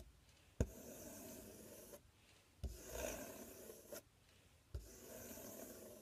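Fingernails scratch and rub across the front panel of a large, empty, open corrugated cardboard box. Three separate strokes each start with a sharp tap and continue as a dry, rasping scrape for over a second, with quiet pauses between them.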